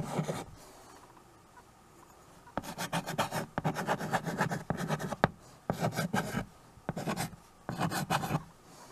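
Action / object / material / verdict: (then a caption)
scrape / chalk on a wood-framed chalkboard / chalk / none. A stick of white chalk scratches and rubs across a small, flat painted chalkboard in a wooden frame, held in one hand with teal nails, while names are written on it. Short bursts of dry, raspy scraping with a low, woody body come in uneven strokes, separated by brief quiet pauses.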